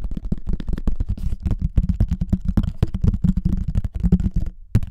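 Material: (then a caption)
Plastic. Fingertips and nails quickly tap and scratch the top surface of a hollow pink plastic frisbee with a cartoon face, held over the mic. The result is a rapid, dense run of short, dull, boomy taps with a low hollow tone around 180 Hz and faint scratchy texture between them. The taps pause briefly near the end before one last tap.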